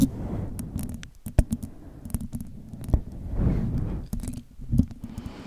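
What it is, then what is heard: Plush stuffed toy, fur scratched. A large grey and white plush teddy/koala toy with soft, stuffed synthetic fur is held beside the microphone while long acrylic nails scratch and rub the fur on its head and ear. The result is a dense, low, muffled rustling and scraping, broken by short, sharp nail scratches that spike bright and loud.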